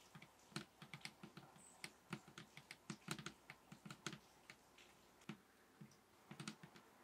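Fingers tap on a table top in a quick, uneven run of about 29 short taps. Each tap is a bassy thump around 150 Hz with a bright click on top, dying away almost instantly. The taps sound over a quiet, steady background.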